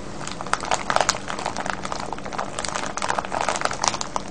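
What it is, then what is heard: Plastic bag of wrapped candies. A full, clear plastic bag of wrapped sweets, with a red wrapper on top, sits on a wooden table while both hands cup it steadily and squeeze and rub it with the fingertips. A continuous bright crinkling runs throughout, dotted with sharp crackly spikes over a faint steady low hum.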